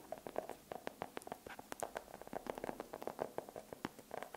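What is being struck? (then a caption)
Dark chocolate bar. A solid dark chocolate bar held close to the microphone is tapped with long pink acrylic nails. A quick, irregular series of sharp, dry clicks rings around 630 Hz, each dying away almost instantly, with brief bright ticks on top.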